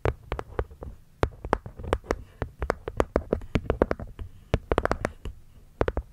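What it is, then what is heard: Hexagonal wooden box with cork lid. Long nails tap and scratch the cork top panel of a small, hollow, light-wood hexagonal box set over the mic. Around thirty short, dry taps come in an irregular, quick run. Each tap has a dull, low, hollow thud that dies away almost instantly, with faint scratching between the taps.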